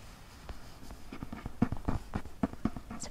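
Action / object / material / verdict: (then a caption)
tap / paperback book with glossy paper cover / paper / none. Fingertips with painted nails tap and scratch the glossy paper front cover of a closed, hand-sized paperback novel held upright against the chest with one hand. About twelve soft, dull taps fall at an uneven pace, mixed with faint scratching, in a quiet setting.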